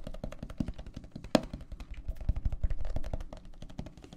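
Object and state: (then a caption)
Plastic tumbler filled with gel water beads. Fingertips tap rapidly on the walls of a clear plastic tumbler full of teal gel water beads, held horizontally and then upright. The taps are soft, dull and low, with a few firmer knocks standing out among quick, uneven patter and almost no ring.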